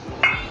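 A single sharp knock as two first-class burnt clay bricks are struck together, giving a bright, metallic ring that fades within about a quarter of a second. The clear metallic ring marks them as good-quality bricks.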